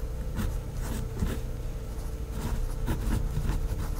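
A hand with long painted nails writes with a pink felt-tip fineliner pen on a thin, flat sheet of white lined notebook paper on a pad. Soft scratching, gliding strokes come in quick bursts over a steady low hum.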